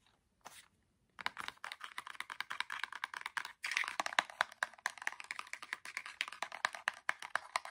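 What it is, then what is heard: Cardboard box of LED fairy lights. A small orange printed cardboard box with a clear plastic window, holding micro LED string lights, is held in the hands and rapidly tapped and scratched with fingertips and nails. After a single soft tap and a brief pause, a dense, steady run of quick, dry, crisp taps and papery scratches continues to the end. Each tap is bright and clicky with almost no ring.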